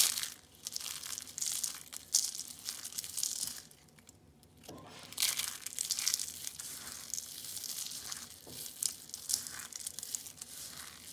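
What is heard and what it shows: A pile of crushed orange and green dried soap flakes is squeezed in the hand and rubbed with the fingers. It makes dense, bright, crackly crunching and crinkling with almost no low end, broken by a brief quiet pause near the middle before the crunching resumes.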